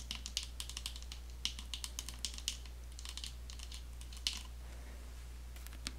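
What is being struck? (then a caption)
Plastic lotion bottle with flip cap. Long fingernails tap a medium white plastic body-care lotion bottle, likely filled with lotion, held in one hand: first on its gold plastic flip cap, then on the bottle body. The result is rapid, irregular, bright clicky taps that die out almost instantly, with a steady low hum underneath.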